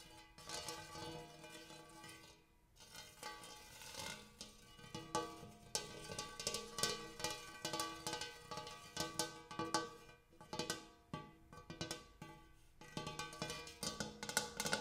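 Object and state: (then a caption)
Large metal bowl. A big metal bowl is tapped over and over, each tap giving a bright, ringing metallic tone like a cowbell that fades quickly. The taps come at an irregular pace, sometimes in quick clusters, over a sustained shimmering resonance.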